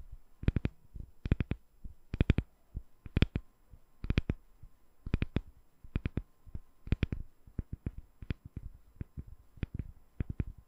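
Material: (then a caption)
Glycerin soap. A translucent, palm-sized solid glycerin soap bar with embedded colored balls is held above a microphone and tapped with long nails. Quiet, sharp clicky taps come in quick bursts of two to four, each with a dull low thud underneath and a bright tick on top that dies away almost instantly.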